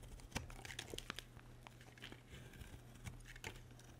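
A solid, dry white bar of soap, held in a hand with long red nails, is carved with a metal utility blade. Quiet, crisp scraping and cutting crackles come in quick, irregular bursts with bright edges, over a steady low hum throughout.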